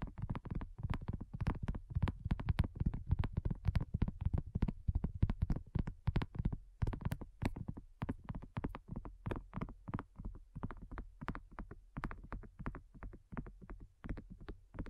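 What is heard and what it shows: A flat, round, pink dotted silicone coaster, thin and solid, is tapped with long nails and fingertips in a quick, uneven stream. The taps are soft and dull, low and thumpy, and die away almost at once. Occasional sharper clicks from the nails cut through.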